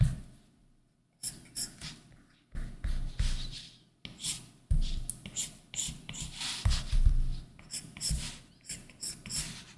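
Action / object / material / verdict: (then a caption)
scrape / plastic stylus on matte plastic film over a glass tablet screen / plastic film / none. A plastic stylus tip scratches and taps across a large iPad Pro's solid glass screen fitted with a matte plastic screen protector as it draws lines. Short bursts of bright, papery scratching come with soft, dull low taps. The strokes are separated by brief near-silent pauses and grow busier toward the end.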